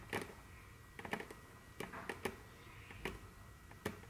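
Very long curved fingernails tap and click on a large, solid, dark brown glossy wooden tabletop. Short, dry clicks come in irregular clusters over a faint steady background hum, each dying away almost instantly.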